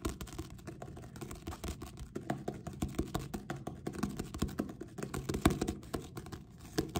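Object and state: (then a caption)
Paperback book cover. Several fingertips with short nails rapidly tap and drum on the glossy card back cover of a purple paperback book, a solid paper block, held up close. The result is a dense run of quick, dull, low-mid knocks with a light papery click from the nails, each dying away almost at once.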